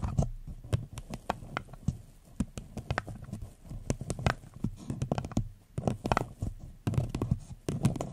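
Long nails tap the sides of a hollow floral paper cup turned upside down over the mic, making a quick run of soft, hollow, low-pitched taps with faint bright clicks. Each tap dies away almost at once, leaving a quiet, muffled thumping patter.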